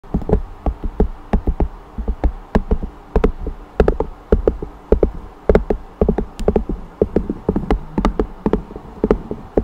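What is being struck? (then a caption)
Thin flat cork strip. Fingertips and long nails on a ringed hand tap rapidly on a thin, flat, solid cork strip held horizontally just above a condenser microphone. The taps are soft and dull with a heavy low thud, short decay and a faint tone around 410 Hz, each carrying a quick bright click. They come in quick, uneven bursts throughout.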